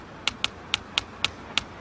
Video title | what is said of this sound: Bill Nye the Science Guy S01E12 Sound ❤❤ | you can hear the tapping through the bricks